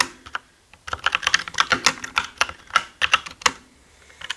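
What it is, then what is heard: Plastic mechanical keyboard. Both hands type fast with their fingertips on a black mechanical gaming keyboard with plastic keycaps. A couple of isolated taps and a short pause give way to a dense run of sharp, bright clacks. Each keystroke dies away almost instantly.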